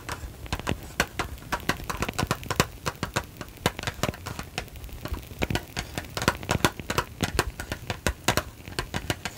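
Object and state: Small cardboard box.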